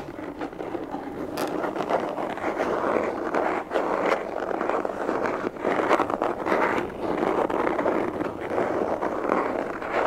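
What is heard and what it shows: A closed, hollow black semi-rigid molded pistol case with an EVA/nylon shell is held in both hands and tapped and scratched with fingertips and nails. The result is a steady, dense stream of dry scratching with quick taps mixed in, centered in the midrange with little low bass or bright top end.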